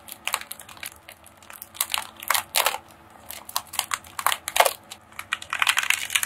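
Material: Metal foil.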